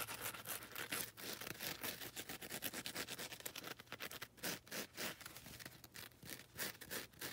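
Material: Foam.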